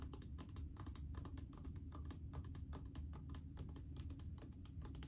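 Long acrylic nails tap rapidly on a large blue plastic mouthwash bottle full of liquid. The quick, sharp clicks run steadily over a low background rumble.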